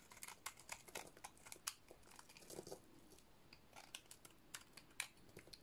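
A metal blade scrapes and cuts a dry, solid white soap bar with a black painted coating dotted in blue. It makes a quick run of crisp, dry crunching clicks and short scraping strokes. The clicks are bright and brittle and stop almost instantly, with a few louder, fuller crunches mixed in.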